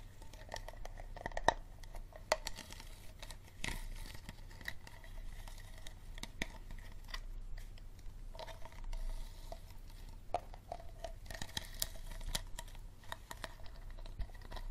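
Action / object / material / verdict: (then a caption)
tap / thin plastic water bottle / plastic / none. An empty, hollow clear plastic Dasani water bottle is tapped and scratched with fingernails along its sides and ribbed bottom. Quick, dry clicks and scratchy rasps sound against a low steady hum, with a hollow plastic ring and occasional brighter crinkly scrapes.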